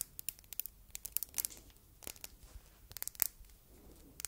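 A palm-sized solid red glass heart paperweight with faceted edges is turned in the hands while long red nails tap and scratch its face and faceted sides. The result is a series of quick, sharp, bright clicks and brief scratchy scrapes that die away almost instantly, set over a quiet background.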